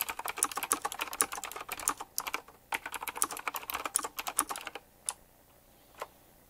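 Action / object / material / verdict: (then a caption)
tap / mechanical keyboard with round plastic keycaps / plastic / none. Fingertips type fast on a retro typewriter-style mechanical keyboard with round plastic keycaps set in chrome rings. Rapid, bright, clacky keystrokes come in dense bursts with a brief pause near the middle. The typing then trails off into two isolated clicks.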